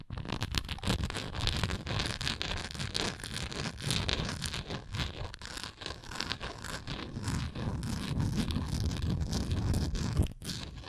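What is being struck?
Textured plastic container.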